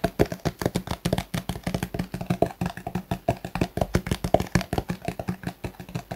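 A Garnier plastic squeeze tube, hollow and filled with cream, is held in both hands and tapped rapidly with the fingertips of both hands. About forty quick, dull taps follow in a steady, slightly uneven rhythm, each a short, low-weighted knock with a faint mid-pitched hollow tone that dies away almost instantly.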